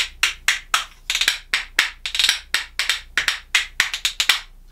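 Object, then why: Pair of katsura wood percussion spoons. A pair of small solid katsura-wood percussion spoons, held back-to-back in one hand, is knocked rhythmically against the hand and knee. The result is a quick, uneven run of bright, dry wooden clacks that die away almost at once.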